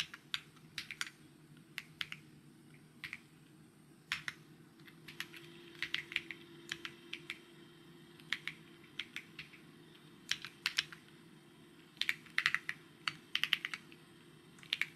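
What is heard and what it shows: Fingertips type on a white mechanical keyboard with plastic keycaps, producing short, bright, clicky taps centered around 3 kHz. The taps come in irregular bursts and quick clusters, with brief pauses between them. A faint, steady low hum sits underneath throughout.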